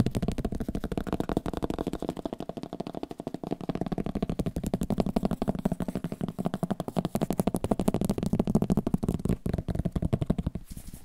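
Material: Paper.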